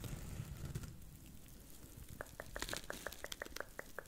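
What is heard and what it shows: A porous, dry blue cellulose sponge is curled and scratched with long nails close to the microphone. It first makes a soft, low rustling crinkle, then a quick series of sharp, crisp crackling clicks with a slight hollow tone and bright edges.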